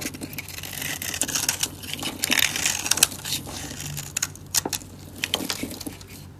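A metal utility blade carves a solid, dry, light-blue soap bar held in the hand into layered flakes, with the shavings crumbling away. Dense, bright, crisp scraping and crackling crunches overlap in quick bursts, with sharper snaps standing out now and then. A faint low hum sits steadily underneath.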